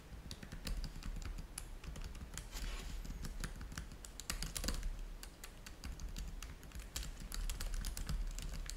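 Fingertips type steadily on the keys of a black plastic laptop keyboard, producing a rapid stream of bright, sharp clicks with quick decays. A steady low rumble sits beneath the typing throughout.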